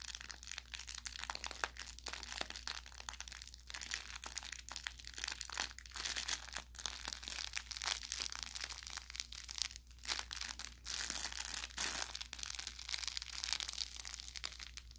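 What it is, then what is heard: Plush toy with crinkle filling. A hand squeezes near the top of a soft, stuffed orange velour plush carrot toy with crinkle filling, then the fingertips rub and press along its body. This produces a dense, continuous run of quiet, bright crinkling and crackling, with short sharp pops, over a faint steady low hum.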